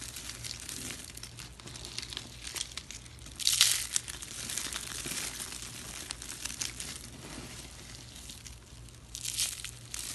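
A palm-sized pink spiral of thin, dry soap shavings with a hollow centre is held in one hand over a pile of pink soap flakes and squeezed and crushed by the fingertips. It gives a continuous dry, bright crinkling crunch, with a louder burst of crackle a third of the way through and another near the end, over a faint low hum. The curl crumbles into flakes.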